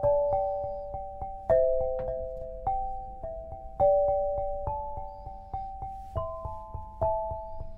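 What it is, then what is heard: Black granite lithophone. An 8-bar lithophone made of solid black granite slabs on a low frame is struck with two soft-headed mallets, red and green balls on wooden sticks, to play a melody. Clear, ringing tones centered around 650 Hz sound one after another, each with a soft attack and a sustained decay that overlaps the next. Faint lighter taps fall between the main strikes.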